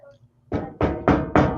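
A desk is knocked on four times in steady succession, each knock a solid, full thud with a short ring that fades quickly, after a quiet low hum. The desk sounds solid.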